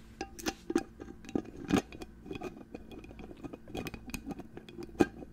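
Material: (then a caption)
Glass. Fingernails tap and scratch a hollow, clear glass perfume bottle with a gold cap, held close to the microphone. The result is a quick, irregular run of sharp, bright clicks with soft scraping between them, each click dying away almost at once.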